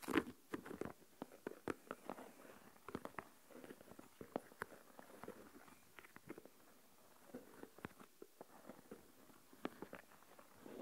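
Fingertips and nails tap on the lid of a small translucent plastic deli tub filled with coarse salt. The result is a quiet, irregular run of short, dull taps with almost no ring, pitched low-mid and lacking bright highs, with faint rustle between them.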